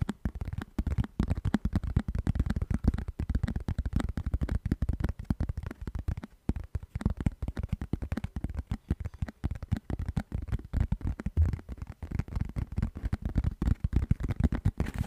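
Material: Plastic.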